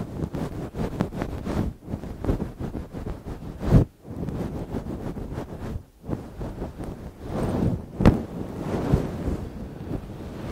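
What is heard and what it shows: Long nails and fingertips scratch and rub through a soft, fluffy grey-black synthetic fur windscreen over a microphone. The result is a dense, muffled, low rumbling rustle with a few sharper, louder scrapes and brief quiet dips between passes.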